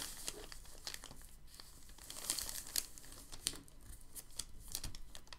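Open hands rub and smooth a large, thin, crinkled sheet of packing paper lying flat on a table. The result is a steady, quiet stream of bright crinkling and crackling, with a few sharper crackles standing out along the way.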